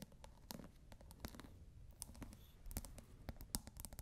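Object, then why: Plastic pod cap on a glass water bottle. Long nails scratch and tap the ridged top of a plastic scent pod capping a clear glass bottle partly filled with water. Quick, dry clicks with bright edges sit over a soft, low rustling scratch. The taps stop short with no ring, at a quiet level.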